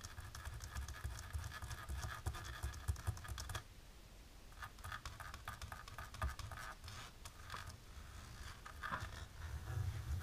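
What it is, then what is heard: Embossed plastic film. Long natural pink polished nails, worn with lace fingerless gloves, scratch fast across a thin dark embossed plastic film laid flat on a table. The result is a dense, rapid crackling scratch with a low rumble and bright texture on top. The scratching briefly softens just before the four-second mark and then picks back up in quick bursts.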